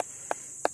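A hand knocks three times on a yellowish cempedak fruit still on the tree, with an old-looking stalk and flattened spines, giving short knocks pitched around 700 Hz over a steady high-pitched hiss. The knocks sound not dense, not solid, which with the colour and spines shows the fruit is mature and ready to harvest.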